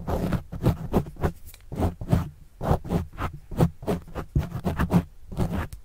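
A plastic pen tip writes and scratches across a black foam windscreen on a microphone. It makes a run of quick, muffled scratching strokes, close and rumbling, heavy in the low end with almost no brightness, each stroke stopping dead with no ring.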